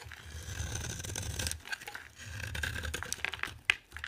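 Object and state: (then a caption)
Dry soap bar being carved. A solid, hand-sized green bar of dry soap is held in one hand and carved and scraped with a metal utility knife blade, with shavings piling up beside it. Two long, dry, gritty scraping passes carry a crisp, bright hiss over a soft low rumble. They are followed by quicker, short scratchy cuts and one sharp crack near the end.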